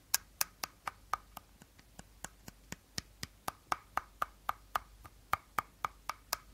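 Short nails tap the body and teal cap of an empty, hollow, clear plastic bottle held at an angle. The taps come at about four per second in a slightly uneven rhythm, each one a dry, crisp click with a bright top and a hollow mid tone near 1.2 kHz. Every click stops almost at once, with quiet gaps between them.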